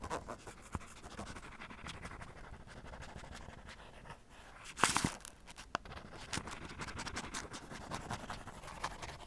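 A cotton swab held in the fingers scratches and rubs the surface of a black padded nylon tennis racket cover near its edge and strap. The result is a steady, soft, dry scratching hiss with light ticks throughout and a brief louder, brighter rasp near the middle.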